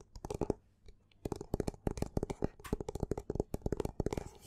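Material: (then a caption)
Paper. A black paperback book with a textured cover is held in both hands while fingers and nails scratch and rub its cover and side edges. The result is a rapid run of short, dry scratching and tapping bursts with a faint hollow tone near 400 Hz. A brief quiet gap near the one-second mark is followed by denser, continuous scratching.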